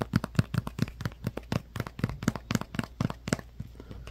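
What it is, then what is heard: Plastic glue bottle. A white, hand-sized plastic Elmer's Glue-All squeeze bottle with an orange cap is held in one hand and tapped with the fingertips and nails of the other. About twenty quick, dry taps sound in an uneven rhythm, each with a hollow, low thump, a faint bright click and almost no ring. The taps grow softer toward the end.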